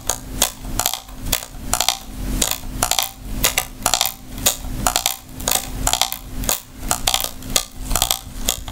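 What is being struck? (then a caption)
Small hard plastic lint brush shell. Long nails tap the curved, hollow shell of a small oval hard-shell plastic travel lint remover with a floral print, held in both hands. The taps are bright, sharp plastic clicks that stop almost instantly, coming in uneven flurries over a faint steady low hum.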